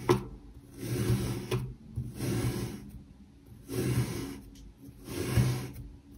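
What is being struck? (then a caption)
Moulded kinetic sand block cut with a knife blade. A metal knife blade slices down repeatedly through a solid, palm-sized pink heart-shaped block of molded kinetic sand resting on a white surface, cutting thin slices. Each cut is a soft, gritty rasping scrape that swells and fades, mostly low and muffled with a faint high hiss. The cuts repeat at a slow, uneven pace with quiet gaps between them.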